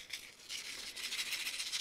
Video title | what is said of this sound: Kitting up Sparklers into long term storage | A little bit of a rattle.